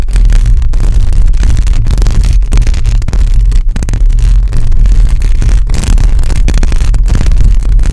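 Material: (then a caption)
Metal mesh. Long acrylic nails on both hands scratch a hollow metal mesh microphone grille, producing a loud, continuous, deep rumbling scrape with almost all of its energy in the low bass. Brief dips and quick dropouts break up the steady grinding texture as the nails move across the mesh.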